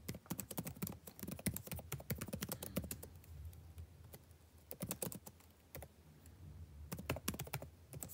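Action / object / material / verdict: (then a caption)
tap / plastic laptop keyboard / plastic / none. Fingertips type on the plastic keys of a backlit laptop keyboard, producing rapid, short, clicky taps in quick bursts. There are quieter stretches with only sparse taps over a soft low hum, and the same keyboard is heard throughout.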